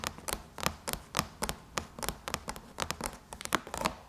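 Long chrome-painted nails tap on the closed lid of a silver aluminum MacBook, producing a quick run of about 18 sharp, dry clicks with a bright metallic tick around 1 kHz. Each tap dies away almost at once, and the taps come in uneven clusters and pauses.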